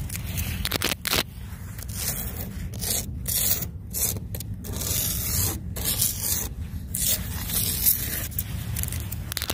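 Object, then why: Loose sand on the ground. Long blue nails and fingertips scratch and trace through a flat patch of loose, dry brown sand on the ground, where yellow powder has been drawn in letters. A steady, gritty scraping and crackling rasp continues throughout, bright in the highs over a low, rumbling undertone.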